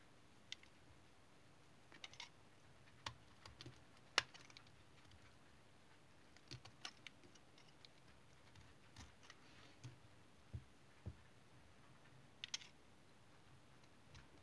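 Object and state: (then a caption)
Tar soap bar being cut. A small blue-handled knife shaves thin slices off an oval, solid, dark reddish-brown tar soap bar held in the hand. The result is a string of short, bright scraping cuts with almost no ring, scattered over a quiet background.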